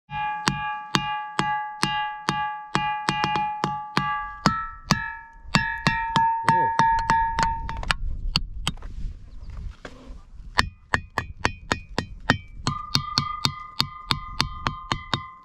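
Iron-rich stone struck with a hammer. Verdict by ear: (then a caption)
Ringing. Iron-rich ringing rocks near El Burro Bay are struck in a quick, uneven series of hits, apparently with a hammer, each giving a bright, bell-like metallic ping with stacked tones around 0.8 to 2 kHz that fade quickly. Music plays underneath, and the pitch of the ringing shifts partway through as different spots on the rocks are hit.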